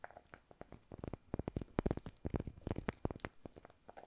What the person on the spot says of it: 12:04 Таппинг по дереву / Wood Tapping